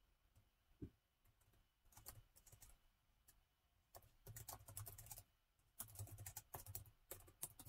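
Fingertips of both hands type on the black plastic keys of a gold laptop's keyboard, producing quick, bright, dry clicks with soft low thumps. The keystrokes come in uneven bursts separated by brief pauses.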